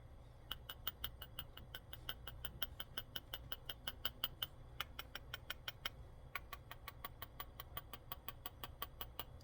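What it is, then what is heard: Uncracked raw egg. A raw chicken egg in its shell is tapped gently and quickly on a counter, about 48 light, bright clicking taps in steady runs with two short pauses, over a low, steady background hum. The tapping is meant to produce a crack showing the membrane has separated from the shell, but this egg does not crack.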